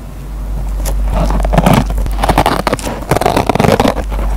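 A metal pen tip plucks and scratches the fibers of a dry kitchen sponge's green nylon scouring pad, producing uneven bursts of crackly, rasping scraping. The scratches come in quick clusters over a steady low hum.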